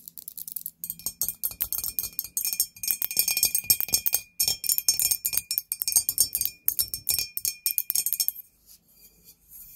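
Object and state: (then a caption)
Glazed ceramic candle holder. Long nails tap quickly on a medium, hollow, white glazed ceramic ghost candle holder, first standing and then laid on its side. The dense run of bright, short clicks rings in the high treble, then tapers off into a few quieter taps near the end.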